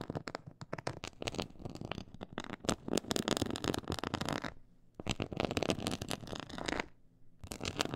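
Long acrylic nails scratch and tap a black glossy faux-leather board with a raised diamond-quilted texture. The result is dense, crackly scratching with quick tapping clicks and short pauses between bursts.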